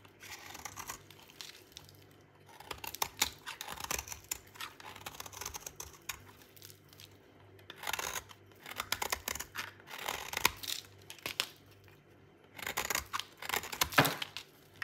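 A metal utility knife blade shaves a solid, dry white bar of soap held in the hand, cutting it into crunchy flakes. Bright, crisp scraping and crunching strokes come in clustered bursts separated by short quiet pauses, each stroke ending quickly with little ring. A faint low hum sits underneath.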